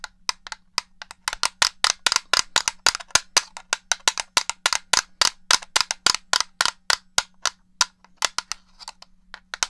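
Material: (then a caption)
Plastic. Long nails tap and click on the shell of a black, hollow plastic original Xbox controller held in one hand. About forty sharp, dry, bright clicks come in a quick, uneven rhythm, each dying away almost instantly. A faint low hum sits underneath.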